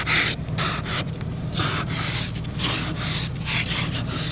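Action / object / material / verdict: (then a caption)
scrape / frosted glass car window scraped with a plastic ice scraper / ice, glass / none. A hand-held blue plastic ice scraper is dragged across a large, flat car window coated in a solid layer of frost and ice, clearing strips of ice. It makes a run of bright, gritty rasping strokes, each a burst of high hiss separated by brief pauses, over a steady low rumble.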